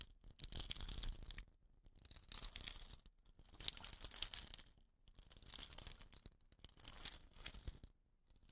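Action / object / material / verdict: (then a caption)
scrape / wooden rain stick / wood / none. Fingernails scratch the rattan end and the dot-painted tube of a hollow wooden rain stick. The result is a dry, bright, crackly rustle, heard in five swelling bursts separated by brief quiet gaps.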